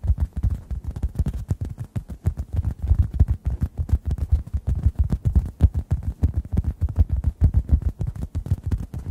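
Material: Foam.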